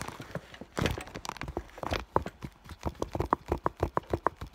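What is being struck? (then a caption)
Clear PVC vinyl bag. Long nails tap the front of an iridescent clear vinyl (holographic PVC) school bag around its fur heart patch. The result is a quick series of soft, dry, plasticky taps, with some sharper clicks carrying a brief tone near 1 kHz. The taps stop short with almost no ring.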